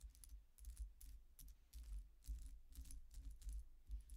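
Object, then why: Metal coin-disc necklace. Long painted nails tap and scratch across the thin, solid, flat silver-coloured metal coin-like discs of a statement necklace on metal chains, lying flat on a dark cloth-covered table. Quiet, irregular bright clicks and light metallic jingles die away almost at once, over a soft low rumble.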